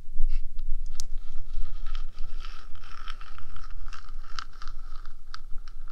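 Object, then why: Small hollow metal box. Long gradient acrylic nails on both hands scratch the top of the small, hollow, painted metal body of a 3Dio binaural microphone. The result is continuous close scratching with a steady low rumble, a faint ringing tone near 1.3 kHz, and brighter scraping bursts.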